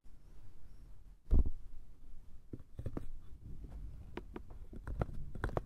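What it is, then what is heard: Small wooden box tapped and scratched. A small, light, hollow wooden box with a brass clasp and a painted top is tapped and scratched with fingertips and nails on both sides and the lid. Soft, dull, low knocks and scrapes come in irregular bursts with almost no ring. A louder thump stands out early, followed by quick clicks and taps toward the end.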